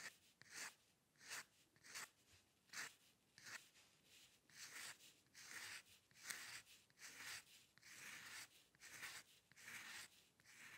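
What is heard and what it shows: A steel-nib dip pen loaded with ink scratches fine hair strokes across a flat sheet of white drawing paper lying on a dark table. The sound is quiet, dry and bright, made of short rasping bursts that come at an uneven rhythm with almost no low end.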